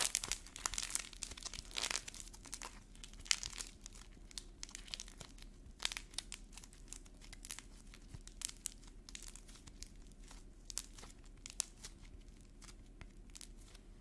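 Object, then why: Painted air-dry clay ball. Fingertips squeeze and crumple a small, solid air-dry clay ball of purple modeling clay coated in a cracked black paint shell, peeling off the paint flakes. Dense, bright crackling and crinkling fill the first few seconds, then thin into sparse, sharp snaps and faint ticks over a low, quiet background.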